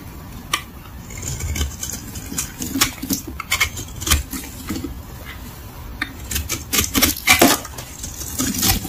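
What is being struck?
Soap bar shaved with a knife blade.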